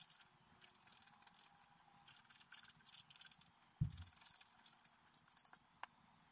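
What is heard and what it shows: A bamboo stylus scrapes a flat, black-coated scratch-art card held down by one hand, scratching out a deer with large antlers. Soft, bright, papery scratching comes in quick bursts of strokes. A dull low thump sounds near the middle.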